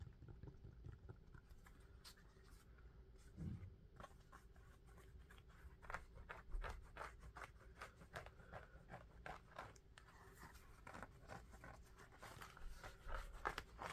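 An empty orange knit-upper sneaker with a dark rubber outsole is held in the hands while fingertips and nails tap and scratch the rubber sole and the knit upper. A fast, uneven run of short, dry clicks and papery scratches plays over a low, steady hum. Each tap stops almost instantly, with no ring.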